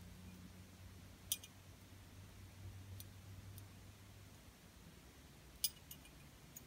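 A small open gold-tone metal heart-shaped ornament with a rhinestone ribbon emblem inside, hanging from a pink ribbon, is held in the hand and tapped and scratched with long purple-painted nails. A few sharp, bright metallic clicks stand out, spread far apart over a quiet background with a steady low hum. Each click dies away almost at once with no lingering ring.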